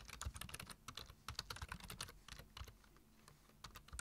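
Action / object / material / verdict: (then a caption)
tap / plastic computer keyboard / plastic / none. A black, hollow-bodied plastic computer keyboard with low-profile keys is typed on rapidly with the fingertips of both hands. Quick, bright clicky taps come in dense bursts over a soft low thump, with brief pauses between runs.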